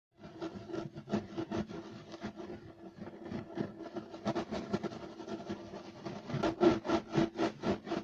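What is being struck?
Woven loop-pile carpet.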